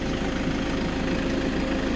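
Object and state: Nothing is struck.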